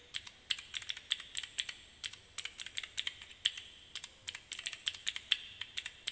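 A small plastic fidget cube fitted with keyboard keycaps, held in both hands, is clicked rapidly by fingertips and nails. The result is a quick, irregular stream of sharp, bright, dry clicks in uneven bursts, each snapping off instantly with no low-end body.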